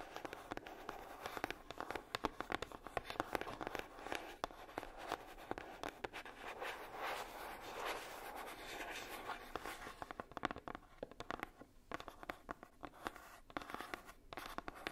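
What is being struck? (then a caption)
Coated cardboard box. Long nails tap and scratch across the lid of a hollow red heart-shaped box, likely made of coated cardboard. The result is a quick, dense run of dry, crisp clicks with soft scraping strokes in between, all quiet and close.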